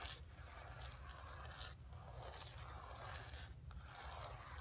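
Long pink nails scratch across the surface of a flat painted canvas board lying on carpet. The result is a steady, dry, bright rasping scrape over a low rumble, with two brief pauses before the scratching resumes.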